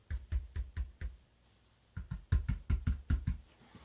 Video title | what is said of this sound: Cerwin vega DX9 point of view. | much lower response when I knock on it